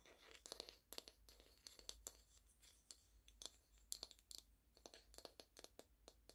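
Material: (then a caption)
Wood. A small, solid, flat round light wooden coaster with a painted potted-plant print is held in both hands and scratched and tapped with long painted fingernails. Quiet, crisp, bright clicks and scratchy ticks come in a rapid, uneven series, each dying away almost instantly with a dry, close sound.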